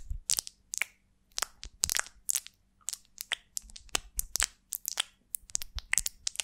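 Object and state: Beeswax honeycomb scratched with nails.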